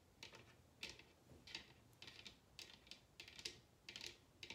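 A large, hollow bamboo bowl turned upside down is tapped with long red nails in quick clustered bursts. Each tap is a short, dry, bright click with almost no ring and very little low end. The taps stay soft and quiet throughout.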